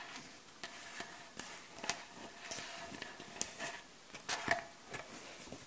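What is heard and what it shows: Long acrylic nails and the backs of the nails tap on a solid, light wooden butcher block board. The result is a series of quiet, sharp, high-pitched clicks with almost no ring.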